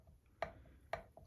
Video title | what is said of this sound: LandRover Jobs - Turbo Inspection | you can hear it tapping that's me moving the shaft backwards and forwards